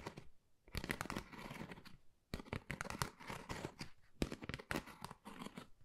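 A flat, thin, hollow pale pink pebble-textured cardboard Dior folder is scratched with long nails. Bursts of dry, raspy scratching and crinkly tearing-like friction run from low thuds up to bright hiss, separated by brief quiet gaps.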